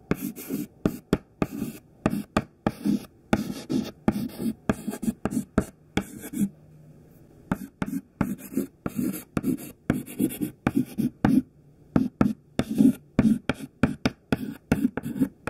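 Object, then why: Thin stick of chalk on a chalkboard. A thin white stick of classroom chalk, held in the fingertips, writes letters on a black chalkboard with short scraping strokes and taps. Dozens of quick, dry bursts each carry a low, hollow body and faint bright grit, with a brief pause near the middle before the strokes resume.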